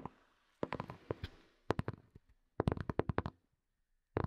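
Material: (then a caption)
Plastic. Long nails tap the curved shell of a small, hollow, black hard plastic earphone case. Quick clusters of short, dry clicky taps come in bursts separated by brief silences. Each tap dies away almost instantly with no ring.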